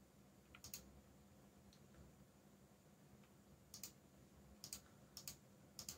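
Fingertips type on a backlit mechanical keyboard with black plastic keycaps, producing short, bright clicks that arrive in quick pairs and small clusters separated by pauses. Each keystroke is crisp and dies away almost instantly over a quiet, steady low hum.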